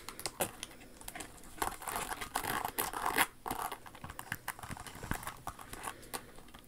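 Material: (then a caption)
Rhinestone. Long acrylic nails scratch and tap across the rhinestones and inner sole of a silver, rhinestone-covered Jimmy Choo stiletto pump with a crystal flower toe. The result is a dense stream of quick, dry scratches and tiny clicks with a bright, crinkly texture, swelling in the middle of the clip, with every tap dying away almost at once.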